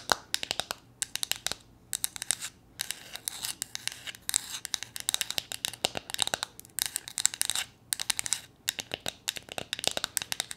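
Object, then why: Small flat painted wooden figurine. A small, solid, flat painted wooden gnome figure is held in the hands and tapped and scratched with long painted nails. Dense bursts of bright, crisp scratching alternate with quick dry taps, with almost no low end and no ringing after each contact.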